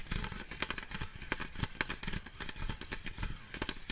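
Fingertips rub and scratch the side of a large, lidded, cylindrical metal cheese-puff tin decorated with a puppy print, held in the hand. Dense, crackly scraping and soft tapping strokes overlap, with low body resonance from the tin under a brighter metallic rasp, each stroke fading almost at once.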